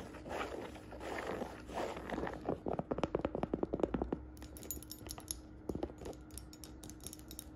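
Fingertips and nails scratch and tap a hollow navy and beige woven jacquard fabric saddle bag with a leather strap. Soft, hissy scratching across the weave gives way to a quick run of dry, muffled taps, then scattered lighter taps and faint scratches over a low steady hum.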